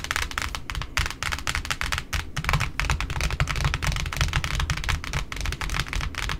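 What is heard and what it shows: Long pointed nails on both hands tap rapidly on the white cardboard top of a large, flat pink satin ribbon spool sitting alone on a wooden table. The result is a dense, continuous patter of short, crisp clicks over a soft, hollow low thump, with almost no ring between taps.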